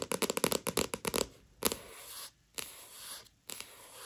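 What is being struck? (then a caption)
Paperback book with glossy paper cover. Long nails tap rapidly on the glossy paper cover of a paperback manga, giving about a dozen quick, bright clicks in the first second. They then scratch across the cover in three longer, hissing strokes separated by brief pauses.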